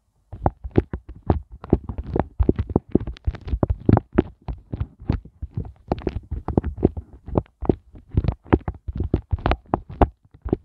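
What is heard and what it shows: Fingertips and nails tap, scratch and press the small hollow hearts of a pink silicone heart ice cube mold. Around forty quick, dull, soft taps follow in a fast, uneven rhythm. Each is low and thumpy with a short papery scratch on top and almost no ring.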